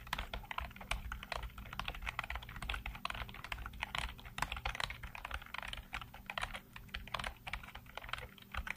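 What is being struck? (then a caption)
Plastic computer keyboard. Fingertips type rapidly on a black plastic full-size computer keyboard with hollow keycaps and blue-lit keys, producing a dense stream of short, bright clicky taps with almost no ring. A steady low hum sits underneath the continuous clatter of keystrokes.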